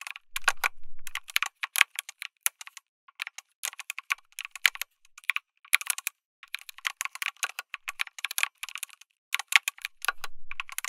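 A full-size backlit MonsGeek M1 mechanical keyboard with an FR4 plate, tactile switches, plastic keycaps and a solid case is typed on rapidly with fingertips. The clip is a steady stream of short, bright, dry clicks in quick bursts with brief pauses. A few low thuds come through, likely from the longer keys.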